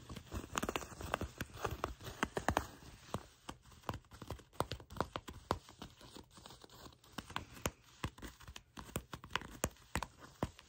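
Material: Faux leather.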